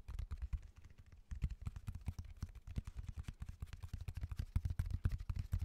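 Fingertips and nails tap quickly across the textured surface of a raw cork oak bark slab held upright. The result is a rapid, uneven run of dull, low, muffled knocks with faint clicks and almost no ring, easing briefly near the first second before resuming steadily.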